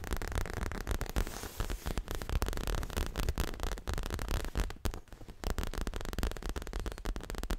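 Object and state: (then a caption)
Leather cushion. Long fingernails rapidly tap and scratch a soft, stuffed, dark grey leather-covered pillow held hugged to the chest. The result is a dense, continuous run of muffled, bass-heavy thumps overlaid with a faint scratchy rustle, briefly quieting near the middle before resuming.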